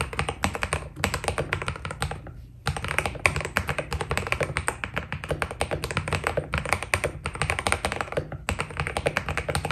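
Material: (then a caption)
PBT plastic. A white Keydous NJ80 mechanical keyboard with PBT plastic keycaps is typed on with fingertips. Rapid, continuous key taps give short clacky clicks with a bright edge over a low thock. The typing pauses briefly near the middle before resuming.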